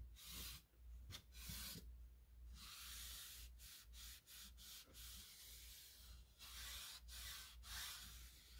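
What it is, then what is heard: Particleboard nightstand being wiped. A hand holding a purple microfiber cloth wipes across the drawer fronts and lower edge of a small gray two-drawer bedside nightstand, which has a hollow cabinet body, painted or laminated particleboard/MDF surfaces and small light drawer handles. Soft, bright, hissy rubbing strokes sweep back and forth in dusting motions, separated by brief pauses, over a steady low hum.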